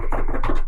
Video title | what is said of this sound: Carney Won. Now What? - Retrospect Station | I'm banging on the table in front of me